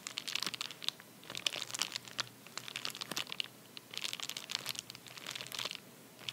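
A flat, empty padded paper bubble mailer resting on a towel is tapped, scratched and pressed with fingertips and nails, making it crinkle. Dense bursts of bright, crunchy crinkling and sharp taps come in clusters with brief quieter gaps, almost no low end and no ring after each sound.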